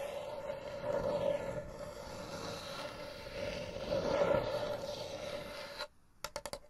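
Long blue nails scratch and tap the checkered top and edges of a small, closed, hollow folding wooden chessboard case held in front of the microphones. A steady raspy scratching with a humming tone around 530 Hz swells twice over about six seconds, then cuts out. A few sharp, bright taps follow in quick succession.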